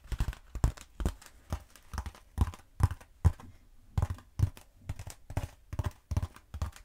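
Long nails tap and scratch a long black foam roller, first held upright and later held horizontally. Quick, irregular bursts of soft, dull taps carry a low thump, mixed with brief scratchy rasps across the foam. Each tap dies away almost at once, with quiet pauses between the bursts.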